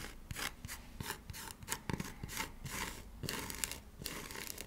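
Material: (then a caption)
Cork. A small, thin, square coaster with a cork back and a glossy printed "Positivity" top is held in both hands and flipped over while fingertips and nails rub and scratch the cork side and the printed side. Repeated bright, rasping scratch strokes hiss across the high frequencies, with soft low taps and handling bumps between them.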